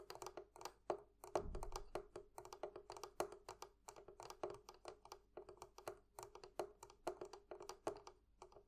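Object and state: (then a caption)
Metal fittings on a barrel chest. Fingers tap in a quick, steady stream of light clicks on the metal fittings of a barrel chest. Each tap is short and dry with a faint ringing tone in the low-mid range, and a single deeper thump stands out early in the run.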